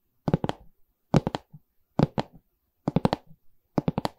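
Long red nails tap and scratch the wooden side bar of a medium, hollow pine stretcher frame with a canvas back. Five quick bursts of taps sound dry and dull, with a low hollow body and almost no ring, each burst trailing off into softer taps.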